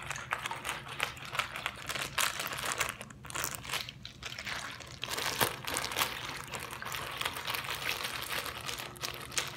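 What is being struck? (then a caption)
Plastic zip-lock bag partly filled with water. A clear plastic zip-lock bag with a green seal, partly filled with water and blue bits, is squeezed and crinkled by fingertips. Dense, bright plastic crinkling runs throughout with soft water sloshing underneath, and the crackles stay short and dry with almost no ring.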